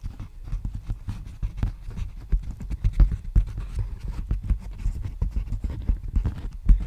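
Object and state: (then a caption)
Plastic bubble mailer. Fingertips tap and scratch on an empty, large black poly bubble mailer envelope held diagonally. The result is a quick, irregular run of soft, muffled low thumps with faint scratchy texture, each tap dying away almost at once.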